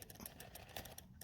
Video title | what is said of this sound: 2020 GMC 2500 steering noise / slack issue intermediate shaft?? | you could shake it and hear it slopping around in there